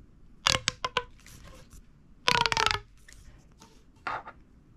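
A hollow red corrugated plastic pop tube, held vertically, is squeezed and collapsed by the fingers, making its ribs pop. Quick, bright snapping pops come first in a short spaced run, then a dense crackling burst, then a final softer cluster. Each pop carries a hollow, slightly tonal ring near 1 kHz that fades almost instantly.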